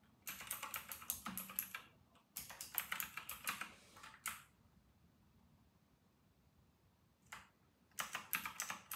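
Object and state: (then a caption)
Plastic mechanical keyboard being typed on. Fingertips of both hands type fast on a white and grey RK960 plastic mechanical keyboard with round plastic typewriter-style keycaps, repeatedly pressing the keys. Bursts of bright, sharp, clacky keystrokes come in quick irregular runs, broken by short pauses and a longer near-silent stretch with one lone tap before the typing resumes at the end.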